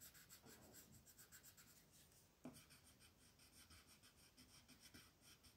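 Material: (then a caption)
Paper. A green wooden colored pencil, held in a hand with long blue nails, rubs and scratches across a thin printed paper coloring page lying flat on a table. The result is a quiet, steady, bright scratchy hiss in rhythmic strokes, with one sharper tap about halfway through.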